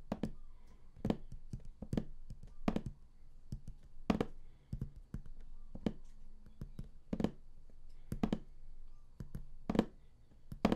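Both hands tap the top of a large printed StarCraft collector's edition box, likely cardboard, lying flat, using fingertips and nails. The result is a steady, irregular run of short, dry, hollow taps with quick decay, mostly low thuds with crisp clicky tops over a quiet low hum.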